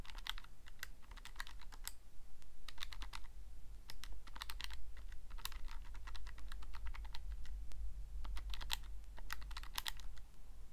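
Fingertips press the plastic keys of a Casio calculator, making quick, crisp clicks in irregular bursts with short pauses between runs. Each click is brief and bright and dies away almost at once, over a steady low hum that runs throughout.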